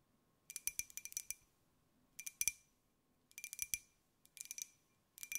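A small white glazed ceramic jar with a pineapple print, hollow, is tapped with long nails in quick bursts separated by short pauses. The result is bright, high clinking clicks with a brief ring and almost no low end.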